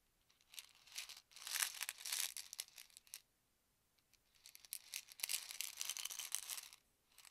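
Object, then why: Plastic pill bottle with tablets. A white plastic medicine bottle with a yellow cap, hollow and holding tablets, is held in both hands, tilted and shaken so the tablets rattle, while fingertips tap the cap. Two long bursts of bright, dry rattling and clicking fill the clip, separated by a quiet gap, with a third burst just starting at the end.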